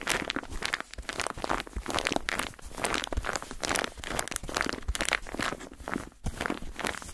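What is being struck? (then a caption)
Padded foam bath pillow with a textured surface. Fingertips and nails tap and scratch the textured surface of a white padded foam bathtub pillow. The result is a dense, steady stream of dry, crinkly scratching and soft tapping that stays bright, with each touch stopping short and no ring.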